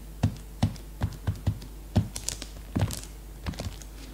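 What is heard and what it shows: Fingertips and long nails drum on the plastic-sealed cover of a new, cellophane-wrapped hardcover notebook lying flat. Short, dull low thuds come in uneven bursts, some with a faint bright crinkle of the wrapping, each dying away almost instantly over a steady low hum.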